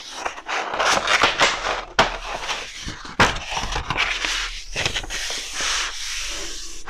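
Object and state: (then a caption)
Kraft paper roll being handled. A large, hollow roll of brown kraft wrapping paper on a wooden table is rubbed and pressed with palms and fingertips as it is unrolled flat and then rolls back up. Dry, bright crinkling and scraping rustles come in bursts, with two sharper crackling snaps standing out partway through, before settling into a steady soft rustle.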